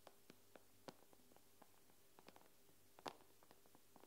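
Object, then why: Glass tablet screen. Long nails tap the glass screen of an iPad with both hands, making eleven quiet, sharp clicks at an irregular pace. One louder tap lands near the three-second mark. Each tap dies away almost instantly over a steady low hum.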